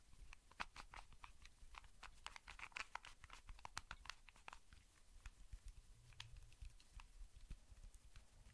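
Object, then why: Plastic puzzle cube. A small, solid, hand-sized plastic Rubik's cube is held close and tapped and scratched with fingertips and nails. The result is a quiet run of quick, dry clicks and scratchy taps with bright edges. Each click dies away almost instantly over a low, soft rumble.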